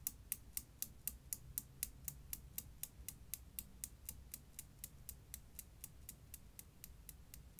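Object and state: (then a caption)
Steel Newton's cradle balls clacking. A steel Newton's cradle, seen from above, keeps clacking as its solid steel right-end ball swings and strikes the other balls. About 31 short, bright metal clicks come at a steady pace of roughly four per second, each dying away almost instantly over a low background rumble.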